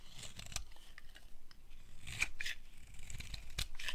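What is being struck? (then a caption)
Bar of soap cut with a small metal blade. A small metal blade cuts and scrapes thin curls off a pink-and-white striped solid dry soap bar held in the hand. It makes a quick run of crisp, dry scrapes and snips with a bright edge around 2.4 kHz. Each stroke stops short, over a soft low rumble.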